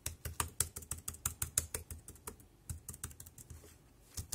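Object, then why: Plastic compact keyboard. Fingertips press keys on the right side of a dark grey plastic compact wireless keyboard, producing about 21 short, dry clicks at an uneven typing pace. Each press has a soft low thump under a bright, crisp tick with no ring. The typing thins out and quiets past the midpoint, pauses briefly, then ends with a couple of sharper taps.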